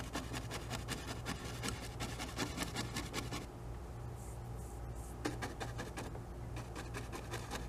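A small fan brush taps and strokes tree shapes into wet oil paint on a stretched canvas on an easel. It makes quick, uneven bursts of dry scratching and tapping over a steady low hum. The strokes thin out to a quieter stretch midway, then pick up again.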